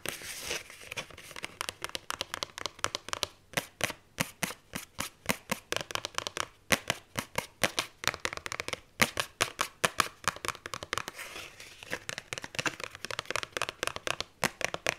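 Fingers and long nails grip and scratch the cardstock cover of a paperback book through its die-cut hole. The result is a fast, aggressive run of short, dry, bright scratches and crinkling ticks with almost no low end.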